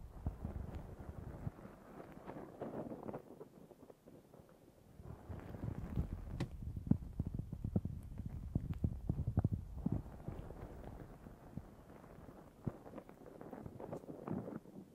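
Long nails scratch a black foam windscreen on a Zoom H6 recorder while both hands cover it. The result is a close, muffled, low-heavy rustling and crackling. It comes in uneven bursts, dips quieter around four seconds, and grows denser and clickier through the middle.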